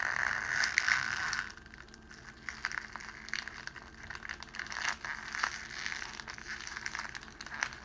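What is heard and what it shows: Both hands crush and stretch a pleated sheet of clear cellophane wrapping, making crinkling and crackling sounds. A loud, dense burst of bright crinkling comes first. It then settles into quieter, scattered crackles and snaps.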